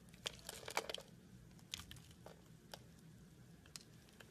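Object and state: Bar of soap being cut and scraped.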